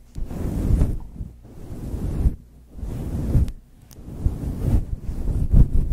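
Long chrome nails scratch and squeeze a soft, hand-sized, grey-white fluffy faux fur windscreen over a microphone. The result is deep, muffled rumbling swishes that swell and fade in waves, almost entirely low in pitch with no high detail.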